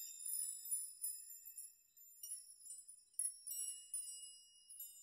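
Spread fingers sweep through a metal nail chime of hanging metal nails, making them jingle. Repeated bright, high metallic tinkles ring out in quick clusters over sustained high tones, all quiet and with no low end.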